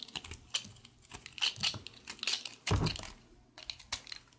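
A utility knife blade scrapes and shaves a small, solid, pale green piece of recycled soap held in the fingers while carving it. The result is a rapid series of crisp, bright scraping and shaving ticks, with one louder, fuller scrape near the middle, over a faint steady low hum.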